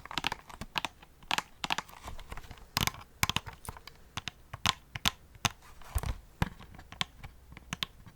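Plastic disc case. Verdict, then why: Brittle. Gentle tapping on the side and binder edge of a brittle, already-cracked plastic PlayStation CD case produces a quick series of short, dry clicks. The clicks have a bright, crinkly edge and almost no ring, and they sound noticeably different from tapping on a steel book case.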